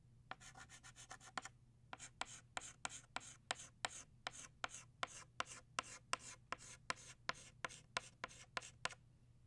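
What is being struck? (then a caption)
Chalk stick on chalkboard. An orange chalk stick scrapes across a flat black chalkboard in short, repeated strokes, drawing the rays of a flower. About 27 quick, dry, bright scratches sound in a steady rhythm, with a brief pause after the first few. A faint low hum sits underneath.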